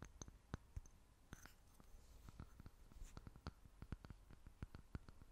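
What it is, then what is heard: Glass jar. Long fingernails tap and scratch a small, clear, seemingly empty glass jar held in both hands. Quiet, sharp, dry clicks come in an irregular series, with brief soft scratchy brushes between them. Each tap dies away almost instantly.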